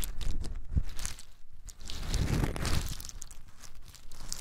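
Small, hard-shelled whole pine nuts are poured and rubbed between bare fingers close up. The shells give off a dense run of dry clicking, crunching and crinkling rattles with bright, short ticks over a low rumble. Louder clusters come near the start and around the middle.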